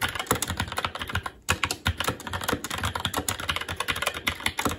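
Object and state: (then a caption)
Plastic mechanical keyboard. Fingertips of both hands type continuously on a SteelSeries Apex 7 TKL mechanical keyboard with red linear switches, plastic keycaps and a metal top plate. The result is a rapid, steady stream of short, crisp plastic clacks with a low thock beneath, broken by one brief pause near the one-and-a-half-second mark.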